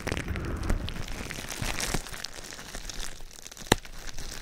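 A large sheet of clear plastic bubble wrap wrapped over a microphone is held and squeezed with the fingertips, rubbing and pressing the air bubbles. Dense crinkling and rustling sits over a heavy low rumble, with brief bright crackles and one sharp pop standing out near the end.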